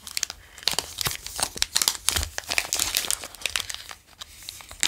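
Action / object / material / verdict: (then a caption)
scrape / plastic chocolate bar wrapper / plastic / none. A full Marabou Nougat chocolate bar in a plastic wrapper is held in the fingers, crinkled and traced with the fingertips. Bright, crisp crinkles and crackles come in quick uneven bursts, mostly high-pitched with almost no low end, between short quieter moments of soft rubbing.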